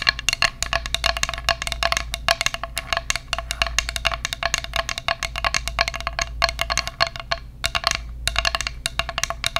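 A flat, solid bamboo children's plate shaped like a bear head with ears, about 25 cm across and empty, is held up close to a microphone and tapped and scratched with long acrylic nails. Rapid, dry clicking taps with a bright, woody tone around 1.7 kHz and almost no ring blend into a soft scratching texture. Brief pauses break up the steady, busy rhythm.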